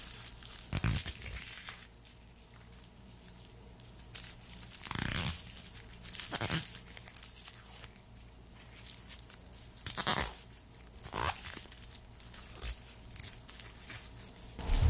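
A whole, solid, hand-sized garlic bulb is held in black-gloved hands as fingertips squeeze, rub and peel its dry papery skin. The sound is a close, soft crinkling and tearing with light crunches, rising in brighter rustling bursts over a low steady hum.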